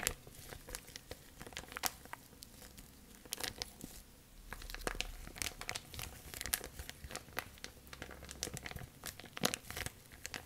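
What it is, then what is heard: Crinkling plastic bag. A thin, clear plastic bag is stretched taut, then twisted and rolled between both hands with long nails. Dense, bright crinkles and sharp crackles come in irregular bursts over a soft, low rustle throughout.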